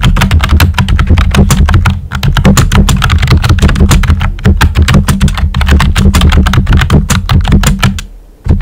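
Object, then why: Plastic computer keyboard keys. Fingertips with short nails type rapidly on a full-size pink plastic computer keyboard with a hollow body and round white typewriter-style plastic keycaps. The result is a dense, steady stream of clicky, clacking keystrokes over a heavy, hollow low thump. There are brief dips near 2 and 4.3 seconds, and the typing fades out just before 8.5 seconds before a final burst of keys.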